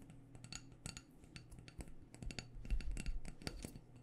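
A small black glass candle jar with a white paper label, filled with solid wax, is held in the hands and tapped with long dark-painted nails. Quick, irregular taps give short, bright clicks that die away almost at once, over a steady low hum.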